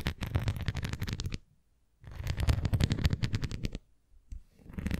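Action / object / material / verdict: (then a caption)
scrape / thin plastic flying disc / plastic / none. Long nails rapidly scratch and tap the rim edge and surface of a thin red plastic flying disc toy held edge-on and tilted. The result is dense bursts of soft, low thudding taps with a crisp, bright scratchy texture. The bursts are separated by brief silences, and another burst begins at the end.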